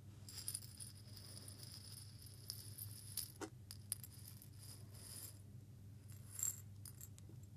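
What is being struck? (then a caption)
Small glass jar with grains inside. A small clear glass jar of small loose grains is held up, tilted and shaken by hand, with fingertips resting on the glass. The grains give a quiet, bright, scattered rattle against the glass, with a few sharper clicks over a steady low hum.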